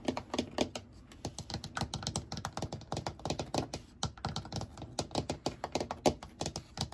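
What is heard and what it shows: Fingertips and nails tap and scratch across the perforated seat of an empty white molded plastic shower chair with drainage holes and handle cutouts, hollow underneath. A rapid, uneven stream of dry, hollow clicks and taps sounds like fast typing, each one short and fading almost at once. Bright scratchy edges ride over a light plastic knock.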